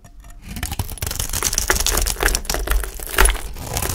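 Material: Soap.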